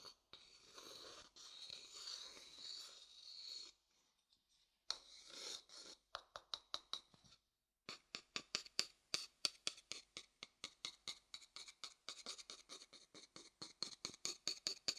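A thin wooden stick scratches across the outer bottom of a pale, hollow wooden bowl turned mostly upside down, making a few seconds of bright, dry rubbing. After a short pause come short scratching strokes and then a long run of quick, crisp taps. Each tap is thin and high with almost no ring or low end.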